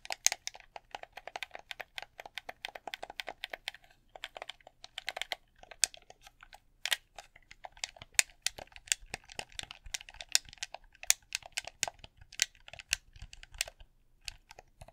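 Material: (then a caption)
Plastic. A red hollow plastic game controller is held in both hands while fingertips and thumbs tap and click its buttons and touchpad. The result is a rapid, uneven stream of sharp, dry, bright clicks that die away almost instantly, with very little low end and some louder taps standing out.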